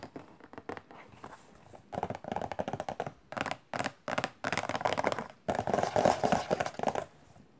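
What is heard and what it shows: Fingertips and long nails scratch and tap the side of a hollow, macaron-print cardboard tissue box. Quick, irregular bursts of hollow, papery tapping alternate with dry scratching, with short pauses between flurries.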